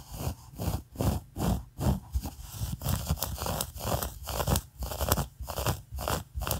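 A large mint-green skein of soft, solidly wound yarn is held in the hands and scratched and rubbed with long acrylic nails. It makes a steady run of about a dozen short, crunchy, rustling scratches, heavy in the low end with a dry, bright fibrous edge. Each stroke stops quickly with no ring.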